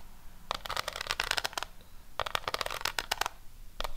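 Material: Cardboard.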